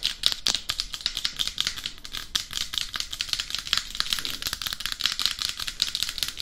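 Long acrylic nail tips tap rapidly across the face and crown of a head-sized, hollow, matte black hard-plastic dummy head microphone. The result is a dense stream of crisp, dry clicks that die away almost instantly. They are bright and thin, centered around 3.8 kHz, with very little low end.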